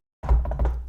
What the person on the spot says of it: This is a real wooden desk. Listen to that.